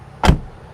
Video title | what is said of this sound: Full Review: Is the 2020 Jeep Wrangler Unlimited the ULTIMATE Lifestyle Vehicle of 2020? | it's like a vault. You can't get in and out of this thing without everybody hearing you, and it sounds solid.